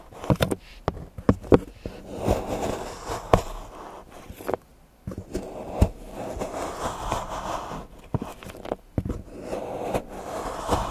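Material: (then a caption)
Chocolate. A large steel knife shaves and scrapes the edge of a solid milk chocolate bar into curls on a patterned board while fingertips hold the bar steady. Sharp, dry clicks of the blade striking and snapping through the chocolate alternate with softer, low-mid scraping passes. The result is a quiet, close, crumbly texture with little high-end sparkle.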